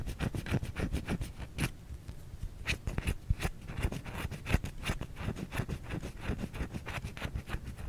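Long fingernails scratch and tap an unwrapped white solid bar of soap held in the hand. A quick, irregular run of dry, dull clicks and short scrapes follows, mostly low and muffled with brief bright edges, each one dying out almost at once.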